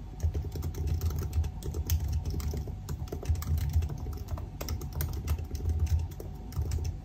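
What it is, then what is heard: Laptop keyboard typing. A silver aluminium laptop with black plastic keys is typed on continuously with the fingertips of both hands. The result is a fast, dense stream of soft key clicks over a low, thumping body resonance around 82 Hz, with brief bright ticks on top.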